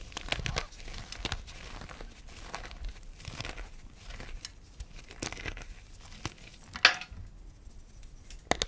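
Bare hands squeeze and crush solid pieces of pale yellow, lemon-tinted gym chalk, crumbling the blocks between fingers and palms over a pile of chunks and powder on a dark plastic tray. A steady, bright, gritty crunching and crumbling runs throughout, with sharper, louder snaps near the end as pieces break apart.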